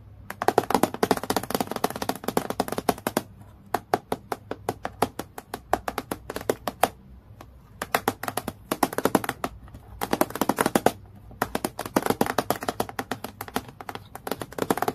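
A long fingernail taps rapidly and lightly scratches on a transparent, clear acrylic plastic clipboard lying flat. The sound is crisp, dry clicking in quick runs, with brief pauses and a soft scratchy hiss between bursts. Each tap dies away almost at once.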